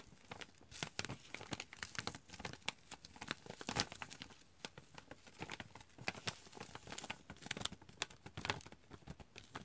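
Fingertips and nails scratch and crinkle the printed surface of a partly full chicory pouch, a foil-lined plastic coffee bag. Dense, bright crackles and sharp rustling clicks come in quick, uneven bursts for the whole clip, each snapping off almost instantly.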